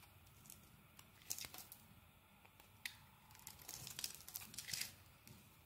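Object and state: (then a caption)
Bar of soap being shaved. A utility knife blade scrapes and shaves the surface of a solid rectangular black bar of soap held in the hand. It makes quiet, bright, crackling scrapes that swell into louder crisp bursts of shaving, with short soft pauses between strokes.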